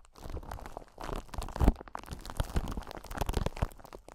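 A clear solid crystal ball, which may be acrylic rather than glass, is held in front of the microphone and tapped and scratched with long pointed nails of both hands. Dense, irregular clicks and scratchy crinkling come up close, with a low thudding weight under the contact sounds and little bright content.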